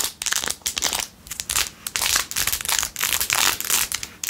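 Long nails scratch fast across the back and edges of a blue-jeweled, rhinestone-covered plastic phone case. Quick bursts of bright, crinkly scratching and clicking rise and fall in rapid succession, with almost no low end and very short decay.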